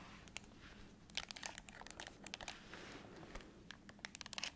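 A black, hollow, handheld-size plastic TV remote is held in one hand while long acrylic nails tap and scratch across its button face and body. The result is a quiet run of sharp, bright clicks and scratchy crinkles with a low steady hum beneath, most dense in the middle and at the end.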